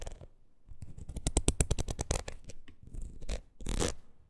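Long nails scratch across the ridges of a palm-sized, red, ridged rubber wood-graining rocker. The result is a fast run of sharp, dry clicks with a low, thumpy body, followed by a few short, brighter scraping strokes near the end.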